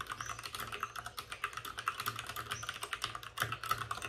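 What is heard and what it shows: Both hands type rapidly with short-nailed fingertips on a white, full-size plastic mechanical keyboard with plastic keycaps and RGB backlighting, resting on a desk with a padded wrist rest. About 32 short, crisp clacks follow in a quick, uneven stream over four seconds. Each strike has a bright plastic click centered around 1.3 kHz and dies away almost instantly.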